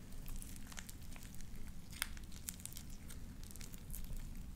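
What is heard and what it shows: A handful of soft, sticky light-blue slime with small white beads is stretched, squeezed and popped between both hands, worked with fingertips and long dark-painted nails. Wet squelching runs throughout, with sharp bright pops and crackles scattered over a steady low rumble.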